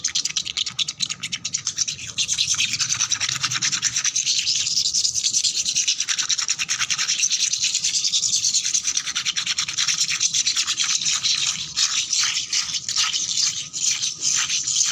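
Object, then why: Painted concrete floor with soapy foam. Long black nails and fingertips scrub and scratch fast across a flat, solid concrete floor with worn paint, covered in soapy foam. The sound is a dense, bright, hissy rasp of rapid, uneven strokes, almost entirely high-pitched with no low end. It starts a little softer and then holds steady and loud for the rest of the clip.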